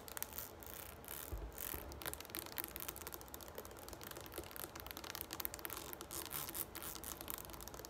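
A green plastic Garnier Fructis shampoo bottle standing on a table has its sides tapped and scratched with long nails. The clip is a quiet, steady stream of fast clicking taps mixed with dry scratching, each hit short and bright with no ring afterward.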